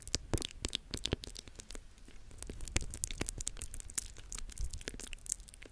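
A bunch of soft orange feathers is held between the fingertips of both hands, stretched and rubbed together. This makes dense, rapid crackling and scratchy rustling with bright, crisp transients over a low rumble. The many short clicks run together without clear gaps.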